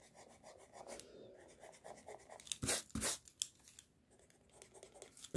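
A pink mechanical pencil scratches drawing lines across a flat white sheet of drawing paper resting on a desk. It makes a soft, bright, papery scraping in quick uneven strokes, with a few louder, sharper scratches near the middle.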